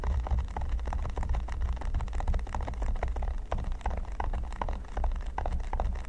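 Fingertips of both hands tap and scratch across a flat red silicone baking mat covered in small pyramid studs, lying on a table. Dense, rapid, soft clicks and scratchy brushing run steadily throughout, over a constant low rumble.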